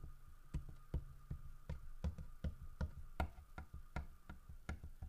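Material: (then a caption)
Wood. Fingertips and nails tap the body of a large, solid carved wooden bear statue holding a fish in its mouth. Thirteen short, dull, low knocks come at an uneven, unhurried pace, each dying away almost instantly, over a faint steady tone.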